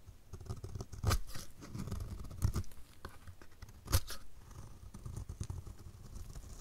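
A utility knife blade scrapes the edge of a dry, solid orange striped soap bar held in the hand. Soft, crumbly scraping and rustling carry on throughout, with a few sharper crackling cuts standing out. The sound is quiet and dull, mostly low with only faint bright edges.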